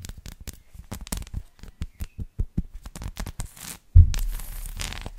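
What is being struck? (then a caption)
Dark chocolate bar with a bumpy surface. A solid dark chocolate bar with a bumpy honeycomb surface, held upright, is scratched with long lilac nails. A quick series of dry, crackly scratches and taps runs for about four seconds, then gives way to a louder, continuous rough scraping.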